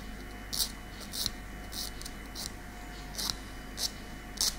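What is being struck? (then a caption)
Keratin fingernail and nail file. A long natural keratin fingernail edge is filed with a light grey nail file held in the other hand, giving seven short, bright rasping scratches at an uneven pace. Each stroke carries a hissy, high-pitched edge over a faint steady background hum.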